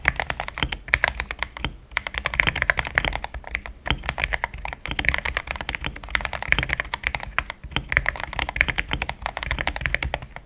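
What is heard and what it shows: A compact pink-cased mechanical keyboard with thick cream XDA plastic keycaps is typed on quickly with the fingertips. It produces a steady stream of short, solid, dry clacks with a bright upper click and a low thock beneath. The typing continues with only brief pauses.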